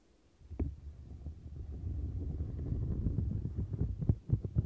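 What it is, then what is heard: Silicone textured scrubber mat. Fingertips and long nails rub and scratch the large dome bumps and bristles of a turquoise silicone textured scrubber mat. After a brief quiet start, a deep, muffled rumbling of rubbing and scratching builds into a steady, dense texture, with sharper scratchy accents toward the end.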